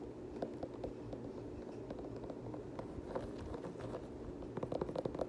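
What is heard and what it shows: Fingertips tap and scratch the knit upper and rubber sole of an empty multicolor knit Nike Kobe 9 high-top sneaker. Soft, dull taps sit over a steady, quiet scratchy rustle. The taps come quicker and a little louder toward the end.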